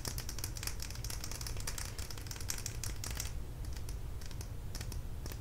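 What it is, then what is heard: Plastic lip gloss tube. A small plastic lip gloss tube filled with product is held in the fingers and tapped and clicked with long nails. Rapid, bright, dry clicks patter over a steady low rumble, thinning out toward the end.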